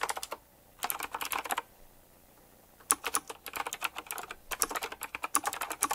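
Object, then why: Mechanical keyboard with round plastic keycaps. Fast fingertip typing on a retro typewriter-style mechanical keyboard with round plastic keycaps set in chrome rings. Quick bursts of crisp, bright clicks are broken by two short pauses, one near 0.4 s and a longer one from about 1.7 to 2.9 s. Each keystroke stops almost instantly, leaving no ring.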